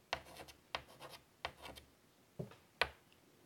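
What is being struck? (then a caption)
Chalk on a wood-framed chalkboard. A hand draws curly lines with a stick of chalk on a large flat black chalkboard in a light wood frame lying on a table. Five sharp chalk strikes each begin a stroke, followed by bright, scratchy rubbing as the chalk drags across the board, with quiet pauses between strokes.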